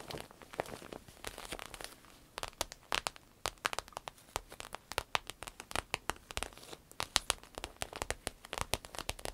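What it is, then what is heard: Vinyl-coated fabric purse. Long red acrylic nails scratch, tap and crinkle the glossy clear vinyl coating of a medium-size green paisley fabric purse, soft and hollow and lying flat. Dozens of sharp, bright crackling ticks and crinkles come in quick, uneven bursts over a faint hiss. Each one stops almost instantly, with little low-end body.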